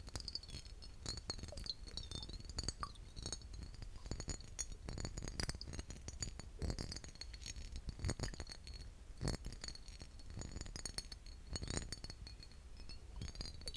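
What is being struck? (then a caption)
Glass aftershave bottle. A vintage glass aftershave bottle is tapped repeatedly, giving quick, bright clinking glass taps with very short ring over a low, steady background rumble. The taps come in an irregular stream throughout, some louder and sharper than others.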